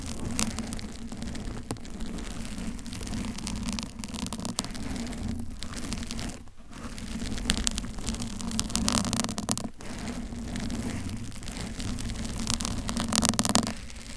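A pink foam bear-shaped cover, hollow and soft, fitted on a Blue Yeti microphone, is gripped and scratched by both hands with long pointed acrylic nails, while a second blue microphone sits untouched. A steady, dense scratching and rustling with a low hum-like body runs throughout, with brief dips near the middle and bright crackly bursts toward the end.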